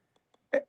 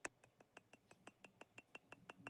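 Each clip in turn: First: acrylic block, not glass. Second: glass block, real glass.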